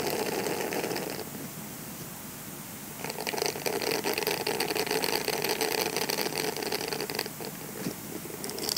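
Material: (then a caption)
Silicone. A grey silicone scrubber sponge is bent into an arch and then rolled while fingertips scratch and squeeze its bristles. Dense, bright, crackly scratching and rubbing runs throughout, softer from about 1 to 3 seconds, then louder and busier until around 7 seconds before easing and swelling again at the end.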